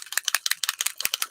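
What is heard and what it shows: A Distress spray stain bottle is shaken back and forth, and the loose mixing ball inside rattles in a rapid series of sharp, bright clicks. The ball moving around helps release the pigment settled at the bottom of the bottle.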